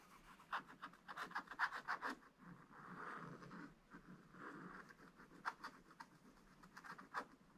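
A thin wooden stylus scratches the black wax coating of a scratch-art paper page in a spiral book lying flat, making small, detailed strokes. Quiet, dry, bright scratches come in quick, irregular bursts, broken by a couple of longer, smoother rubbing strokes in the middle.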